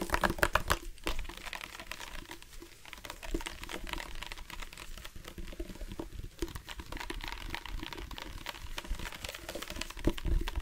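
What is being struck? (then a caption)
Plastic sports water bottle. A dark plastic sports water bottle with a loop cap, hollow and partly filled with water, is held up and tapped and scratched with fingertips and nails. The result is a fast, irregular stream of short, dry plastic clicks and scratchy crinkles over a soft, low, hollow thump, with a louder flurry at the start and again near the end.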